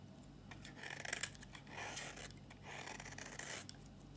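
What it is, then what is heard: Dry bar soap being shaved. A solid, dry red bar of soap held in the hand is shaved with a flat blade, and brittle flakes come off. Quick, bright scraping strokes come in bursts with small sharp crackles, over a low steady hum.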